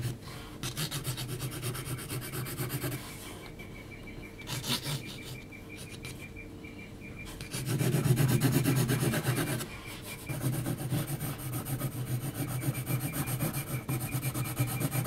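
An HB graphite pencil is scratched in hatching strokes across a large, flat sheet of heavy textured mixed-media paper at the left edge of a drawing. It makes a steady run of quick, rasping strokes with a low, dry body and a bright scratchy hiss. The strokes soften during a quieter middle stretch, swell into a louder burst, briefly pause, then resume.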